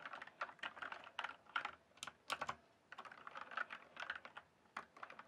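Fingertips type on a backlit mechanical keyboard with plastic keycaps, producing a rapid run of short, crisp clacks with bright edges. The keystrokes come in quick bursts with a brief pause in the middle, and each one dies away almost instantly.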